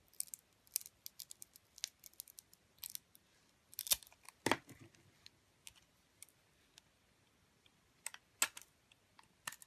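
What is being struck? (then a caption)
Bar soap with a glitter coating cut by a metal blade. A metal utility blade slices the glittery coating off a glitter-coated bar of soap. Quiet, bright, dry scraping and clicking cuts come in irregular bursts, with two louder, fuller cuts near the middle. Each cut stops almost instantly with no ring.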